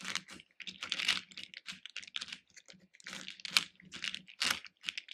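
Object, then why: Small hard-shelled candies in a plastic bowl. Fingertips and nails rummage through small hard-shelled capsule candies in a small pink plastic bowl, lifting them and dropping them back in. The result is a dense run of quick, bright clicking and rattling bursts with almost no low end, each dying away almost instantly.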